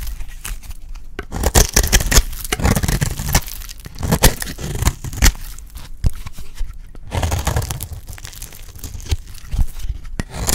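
A hand-held, solid, dry yellow soap bar is scraped repeatedly with a utility blade, shaving off fine curls. Dense, raspy scraping and crunching strokes with sharp, crisp transients and a strong low-end body run continuously throughout.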